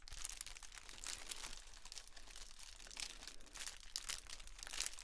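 A pair of blue and gold metallic foil pom poms, held in both hands, is shaken and crinkled. The result is a continuous bright, rustling crinkle with dense crackling bursts that swell and fade as the pom poms swing.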